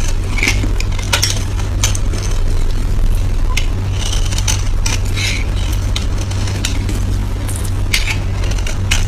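A blade scrapes and shaves curls from the surface of a solid, oval, palm-sized yellow soap bar held in the hand. Repeated bright, dry scraping strokes with a crackly, sizzle-like texture ring out near 2 kHz. They sit over a steady low hum that fills the whole clip at an even loudness.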